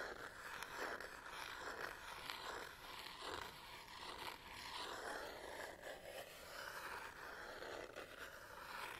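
Long nails scratch the textured rubber and plastic on the back of a black Canon DSLR body held in one hand. The result is a steady, dry scraping with bright, raspy strokes that swell and fade throughout, centred in the mid range with little low end.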